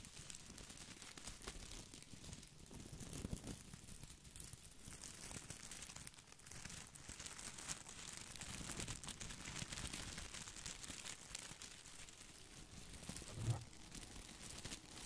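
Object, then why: Artificial boxwood ball with plastic leaves. A round, head-sized artificial boxwood topiary ball covered in small glossy green plastic leaves is held close to the microphone while fingertips and nails scratch and rub across the leaves. The result is a steady, dense crinkling and rustling with bright, crisp scratchy detail over a soft low rumble, with a slightly louder rub near the end.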